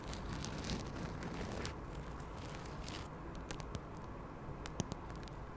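Long acrylic nails scratch a small floral-print quilted fabric pouch with a strap, held close to the mic. The sound is a soft, hollow, low scratching rumble with bright crackly streaks, and a few sharp ticks stand out near the end.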